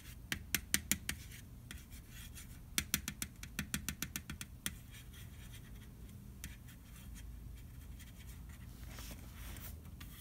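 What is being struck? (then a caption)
Round metal cookie tin. A fingertip traces over the printed letters and cookie images on the side wall of a large, hollow, round metal butter cookie tin held on its side. Two bursts of quick, bright ticks and clicks ring briefly off the metal, then settle into soft, scratchy rubbing over a low steady hum.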